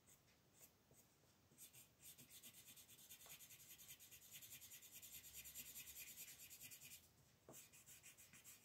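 A wooden colored pencil rubs and scratches color onto a cartoon eye on a flat paper coloring page, which rests on a wooden table and is held down by one hand with long painted nails. Quiet, bright, scratchy strokes repeat at a brisk, fairly steady pace, growing denser and louder through the middle before easing off near the end.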